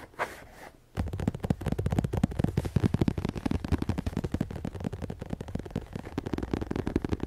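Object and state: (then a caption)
Leather chair seat. Fingertips and nails of both hands scratch and tap the padded surface of a grey leather or faux-leather upholstered chair seat, with the microphone resting on the seat. After a faint, soft rustle, a dense stream of rapid, muffled thumps and scratches begins at about one second. The taps are heavy in the low end and die out almost instantly.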